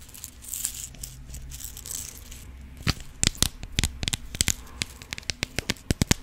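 A clear plastic compartment box with rhinestones inside is shaken and tapped on the lid with long pink nails. It opens with soft, hissy rattling over a low hum, then turns into a run of sharp, bright plastic clicks with almost no ring.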